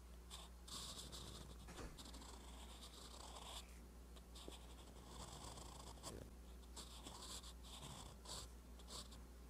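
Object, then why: Metal pen nib on a paper notebook page. A metal fountain pen nib scratches across a flat, lined paper notebook page while writing. Quiet, dry scratching strokes come in short bursts with brief pauses, carrying bright, high hiss over a steady low hum.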